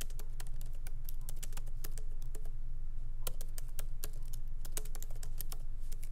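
Fingertips of both hands tap lightly on the black plastic keycaps of a MacBook Pro laptop keyboard set in an aluminum body, resting on a wooden desk. Quick, crisp clicks come at an uneven typing pace over a steady low hum.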